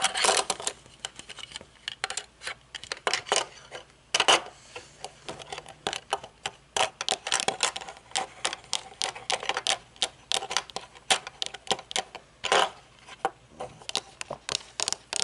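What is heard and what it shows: Long painted nails tap and scratch the dark lenses and thin metal frame of aviator sunglasses held upright close by. Rapid, sharp, bright clicks come in quick irregular bursts, each dying away almost instantly, with softer scratching in between.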